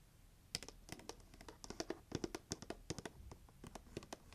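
Long nails tap quickly across the lid and side of a pink heart-shaped cardboard gift box held up in the air. The result is a rapid, irregular series of short, dry clicks with bright edges and a faint hollow body, each dying away almost instantly against a quiet background.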